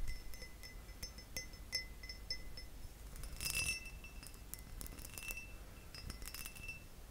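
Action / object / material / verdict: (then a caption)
tap / glass object / glass / none. A glass object is tapped repeatedly with the fingers, giving light, bright clinks with short high ringing tones over a faint low background hum. Brief louder clusters of taps come around the middle and near the end.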